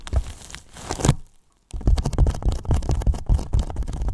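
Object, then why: Polyethylene foam box. Both hands tap and thump the sides of a large, hollow white polyethylene foam box with fingertips and palms. The result is a quick, irregular run of dull, deep thuds with soft crinkly textures and almost no ring. A brief silent pause comes partway through before the tapping resumes.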